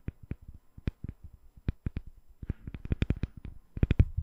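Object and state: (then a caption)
Glycerin soap bar tapped with nails. A palm-sized, solid, translucent glycerin soap bar with embedded colored balls is held above a microphone and tapped with long nails. The result is a quick, irregular run of short, dry taps, each with a low, soft thud and a bright click on top, fading instantly. The tapping grows denser and slightly louder toward the end.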